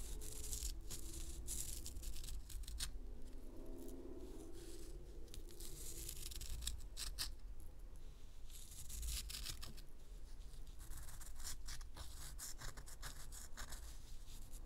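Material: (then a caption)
Pressed powder. Long nails scratch the surface of a round, solid, gold-dusted pressed powder bath bomb about the size of a fist, loosening powder onto a paper towel. A continuous dry, crackly scraping with bright, papery grit rides over a steady low rumble, at an even, quiet level throughout.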